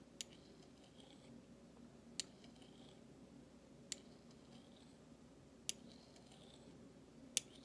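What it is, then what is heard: Stainless steel spoon. A large stainless steel spoon bowl of thin solid metal is scraped and tapped with the handle of a flat metal utensil. Five sharp, bright metallic taps ring out at uneven intervals, each decaying almost instantly, with faint scraping and a low hum between them.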